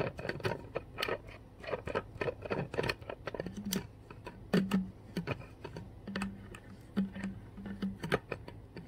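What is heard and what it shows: Long white-tipped nails and fingertips tap and scratch the blue plastic cap of a full, clear plastic Core water bottle standing on carpet. Quick, dry clicks patter rapidly and unevenly, broken by brief, low, squeaky scratching strokes.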